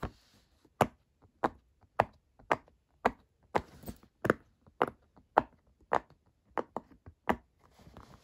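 Fingertips of both hands press and pop the hollow bubbles of a square rainbow silicone pop-it fidget toy. About fifteen short, dry, tapping-like clicks come at an uneven pace, each with a quick mid-pitched snap and almost no ring.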